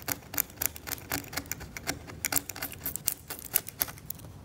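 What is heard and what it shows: A scalpel held by the fingertips scrapes thick, cracked, yellowed varnish off an oil painting on canvas in short strokes. The result is a rapid, irregular series of dry, bright scratching rasps with no ring, each stroke stopping almost at once against a faint background hiss.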